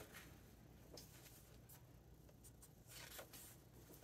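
A hand strokes the glossy paper pages of a large open hardcover book flat and turns them. Soft, bright swishes and crisp rustles rise over a steady low hum. The sound stays quiet throughout, with a few brief louder brushing bursts.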